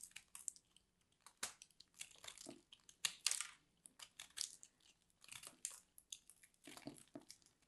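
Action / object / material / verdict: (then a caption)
scrape / soap ball scraped with a metal blade / soap / none. A solid purple grated-soap ball, held in the hand, is carved and scraped with a metal blade tool, and pieces crumble away. The result is a quiet series of short, bright, crunchy scrapes and crackles in uneven bursts, with almost no low end and no ring after each stroke.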